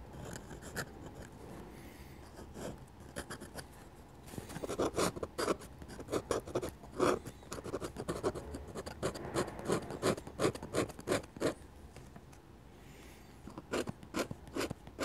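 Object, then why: Steel pen nib on drawing paper. A dip pen with a steel nib scratches hatching strokes onto a flat sheet of drawing paper. Soft, faint scraping gives way after about four seconds to quick, irregular bursts of sharp, dry scratches with a bright rasp. The strokes ease into a quieter lull near the twelve-second mark before a few final strokes.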